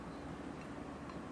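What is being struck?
Nothing is struck.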